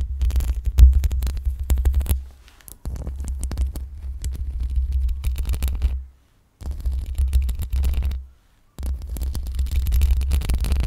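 Long pink acrylic nails scratch the metal mesh grille of a black USB microphone, producing a dense, scraping rumble that throbs deep in the low end around 60 Hz with fine crackling texture above. The scratching comes in four long bursts separated by short silences.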